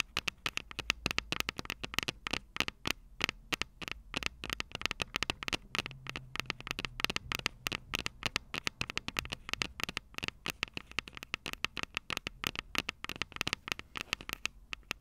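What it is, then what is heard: Metal microphone capsules tapped with fingernails. Long purple nails rapidly tap the small, hollow, silver metal microphone capsules on a Tascam DR-05 recorder. The result is a steady stream of sharp, dry clicks with almost no ring. Each click has a bright, tinny tone centered around 2.7 kHz over a faint low background.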